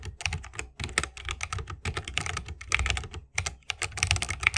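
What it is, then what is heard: Mechanical keyboard in a wooden case. Fingertips of both hands type continuously on a 60% mechanical keyboard with plastic keycaps and Holy Panda tactile switches in a bamboo wooden case. A rapid, uneven stream of crisp, bright key clacks carries a low, muted thock underneath, with brief pauses between bursts. Each stroke dies away almost instantly.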